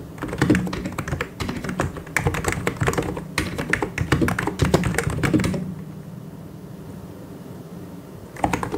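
Fast fingertip typing by both hands on a full-size white and grey plastic mechanical keyboard with plastic keycaps gives dense bursts of clacky key taps. A quiet pause follows from about 5.6 to 8.3 seconds, then the tapping resumes briefly at the end.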